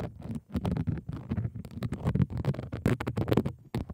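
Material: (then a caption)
Plastic. Long decorated fingernails tap and scratch across a flat pink plastic tray with a dotted raised texture and a small logo. The result is a dense, rapid run of soft taps and rasping scratches, mostly low and muffled, with each hit dying away almost at once.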